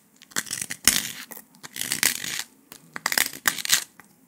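Latex-gloved fingers press on a flat, brittle, porous brown slab of dalgona honeycomb sugar candy, solid with a honeycomb interior, snapping thin shards off its edge. This makes a series of bright, crisp cracks and crunchy crumbling bursts with almost no low end, separated by short quiet gaps.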